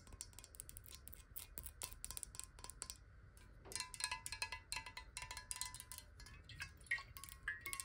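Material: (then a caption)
Glass. A clear, square, hollow glass water bottle, partly filled with water and held in both hands, is tapped quickly with long acrylic nails. The taps come as a rapid, uneven stream of bright, glassy clicks with brief chime-like ringing over a faint steady tone. There is a short lull around the three-second mark before the tapping picks back up.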